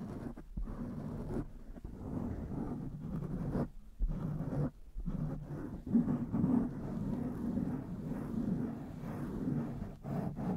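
Long nails and fingertips of both hands scratch around the sides of a blue foam windscreen on a black microphone. The result is a dense, muffled, low scratching rustle with almost no bright content, broken by a few brief dips and quiet gaps.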